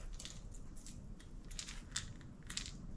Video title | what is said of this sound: This Topwater Lure Modification Will Double Your Catch Rate! | You can hear that ball rolling back